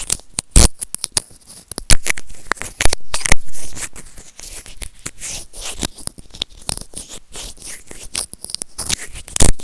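White plastic serrated tweezers grip and scratch a small hollow white plastic earphone remote and microphone. The result is dense, crackly, tearing-like scraping with frequent sharp clicks and occasional loud bursts, heavy in low-end thumps close to the mic.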